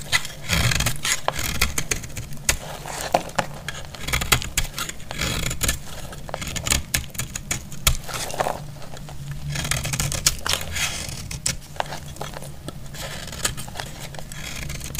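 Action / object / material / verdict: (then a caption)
scrape / bar of soap scraped with a metal blade / soap / none. A metal utility blade cuts and scrapes the surface of a solid, dry orange bar of soap, and flakes fall away. Dense, bright scraping and crackling come in quick, sharp ticks over a steady low rumble, with no ring after each stroke.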